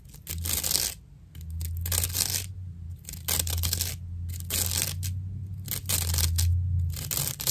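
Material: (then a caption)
Plant fibre. A dry natural loofah sponge has its fibrous edge scratched with long nails. Repeated bursts of rough, bright, crackly scratching come in irregular strokes over a steady low hum.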